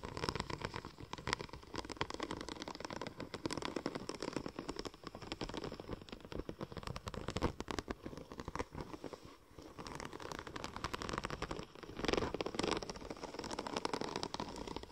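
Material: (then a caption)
Vinyl. Long nails scratch across the raised pattern of a curved, silver checker-plate-pattern vinyl wrap sheet held in one hand. The result is a quiet, continuous, dense crackling of rapid tiny scrapes and clicks, with a slightly louder flurry near the end.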